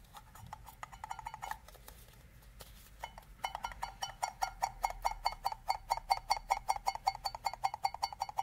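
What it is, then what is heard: Empty tin can. Fingertips and nails tap and handle the rim and ridged metal sides of a small, empty, open tin can held in the hands. Light, hollow metallic clicks with a short ring come in loose bursts, then a brief lull. After that they become a rapid, fairly steady run of brighter taps that grows louder toward the end.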